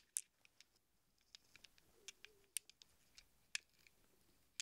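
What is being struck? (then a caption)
Small chrome steel sockets. Small hollow chrome steel sockets are held in a cupped hand while fingertips shuffle and press them together. They give a quiet string of separate, sharp metallic clinks, bright and high with almost no low end. Each tick dies away instantly over a soft background hiss.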